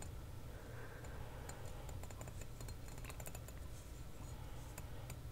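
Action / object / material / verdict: tap / glass ink bottle with plastic screw cap / glass / none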